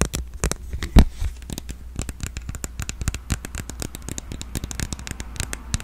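A smartphone in a purple plastic case with clear edges, held upright, is tapped and scratched with long nails along the case back and rim. A rapid, uneven series of short, dry plastic clicks and taps mixes with scratchy crackling. A low thump stands out about a second in.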